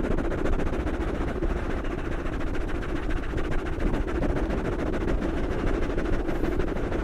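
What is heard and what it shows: Two black foam microphone windscreens are scratched and tapped with the fingertips of both hands. The result is a dense, steady stream of muffled, low-heavy rustling and soft thumps with rapid scratchy strokes throughout.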